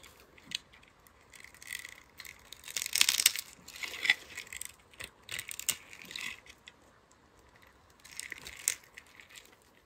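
A palm-sized, solid bronze-gold bar of pre-scored soap is held in the hand and scraped with a metal utility-knife blade, so small cubes crumble off. Crisp, bright scraping and dry crunching come in irregular bursts, with a louder cluster of crumbling near the middle.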